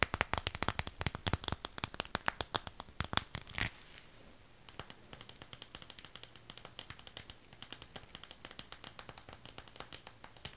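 A small, empty clear PVC zip pouch with purple trim and a smiley-face print is held close and tapped and scratched on its flat, crinkly side with long pink acrylic nails. Sharp, bright clicking taps come fast and loud for the first few seconds. After a brief near-silent pause, softer, steady crinkly tapping and scratching follows.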